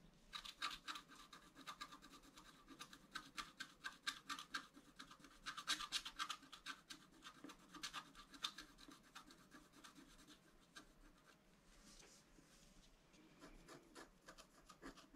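A wooden stylus scratches the antler tips of a drawing on a flat scratch-art sheet of black coated paper. The result is a run of quick, dry, bright scraping strokes, close and quiet, with short pauses and a softer patch of rubbing near the end.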